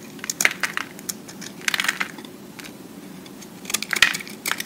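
A utility-knife blade scrapes and carves the faces of a solid green-and-white recycled soap cube held in the hand, shaving off soap flakes. Bright, crisp scraping and crackling bursts come in clusters, with quieter gaps between them, over a faint low hum.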